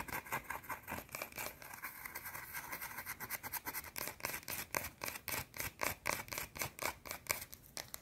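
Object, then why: Small solid soap bar scratched with fingernails. Long teal-painted fingernails rapidly scratch a small, round, flat, solid white soap bar held in the fingers. The result is a fast, uneven run of dry, bright scratching strokes, about four per second, each short with almost no ring. The strokes grow more distinct toward the end.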